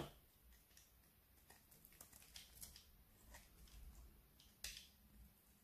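A thin, flat slice of solid orange bar soap is held in one hand and scraped with a metal blade that shaves off curls. Quiet, dry scraping ticks and crisp bright rasps come in short bursts over a low background rumble, with a sharper scrape near the end.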